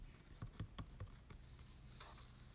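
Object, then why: Glossy cardstock promo card. A larger printed Pokémon Légendaire promo card made of glossy cardstock is held in the hands and scratched and rubbed by short nails. Several soft, dull, low-pitched taps come quickly one after another, then fade into a quiet, papery brushing rustle.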